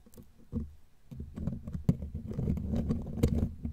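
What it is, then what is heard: Metal microphone grille being scratched and tapped. Long glittery claw nails scratch and tap the bare black metal mesh grille of a studio microphone, close up. The sound is a dense, low, rustling scrape broken by quick dull taps, with sharper clicks standing out around the middle and near the end.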